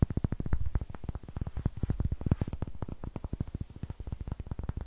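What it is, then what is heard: Pine wood block. Fingertips and nails rapidly tap and scratch a solid, light pine wood block held in the hand. The result is a steady, quick run of dull, low knocks with very short decay, plus faint scratchy texture between them.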